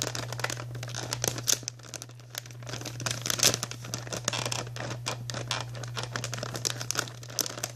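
A white printed plastic Archway cookie bag is held up close while long nails scratch, tap and crinkle its surface. The result is a dense run of bright, crackling crinkles and quick taps, with a steady low hum underneath.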